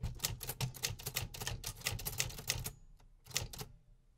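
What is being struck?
Metal manual typewriter keys.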